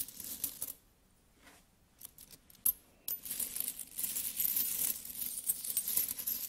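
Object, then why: Metal coins. Fingertips pick up, handle and drop solid metal coins, including a bimetallic coin held in the palm. Bright metallic clinks and jingles open the clip, then a near-silent pause broken by a few soft taps and one sharp clink. A steady stretch of rubbing, rummaging coin jingles follows.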